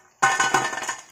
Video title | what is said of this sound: हल्दीराम स्टाइल मसाला मूंगफली चटपटा क्रिस्पी बनाने का परफेक्ट आसान तरीका-Masala peanuts Recipe Rani | आपको आवाज से पता चल ही रहा होगा देखिए कितनी क्रिस्पी बनी है